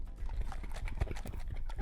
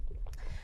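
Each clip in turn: First: jar of churned butter, separated from buttermilk. Second: jar of still-liquid cream sloshing.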